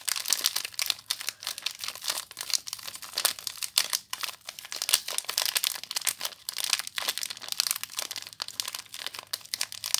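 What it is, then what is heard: Plastic-wrapped soap bar. Long nails scratch and crinkle the clear plastic wrapper around a small soap bar, held close up. A dense, continuous stream of bright, crackling crinkles and sharp rustling snaps fills the clip, with almost no low end.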